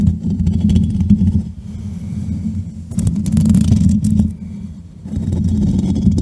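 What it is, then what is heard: Foam microphone windscreen being scratched. Fingertips and long nails of both hands scratch and rub the soft, porous black foam windscreen over the top of a standing USB microphone. The result is a dense, muffled rumble of scraping that is heavy in the low end. It eases into quieter, softer rubbing twice before swelling back up with brighter scratchy crackles.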